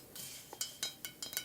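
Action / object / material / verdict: tap / small ceramic pumpkin decoration / ceramic / none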